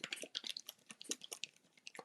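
A plastic bottle of acrylic paint with mixing balls inside is shaken after its opening was covered with a napkin to free balls that had been stuck at the top. About fourteen quick, bright clicking rattles are heard as the balls knock around freely inside. The free rattle means the paint has loosened up and is no longer sticky.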